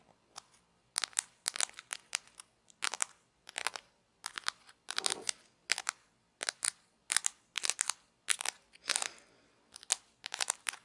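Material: Plastic.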